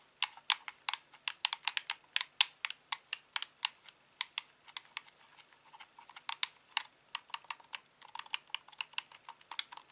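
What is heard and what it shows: Fingertips repeatedly press and click the face buttons and thumbsticks of a hand-sized grey-black hollow plastic Xbox controller. There is a steady stream of sharp, bright plastic clicks that die away almost instantly. The clicks come in an uneven rhythm with varied loudness and little low-end body.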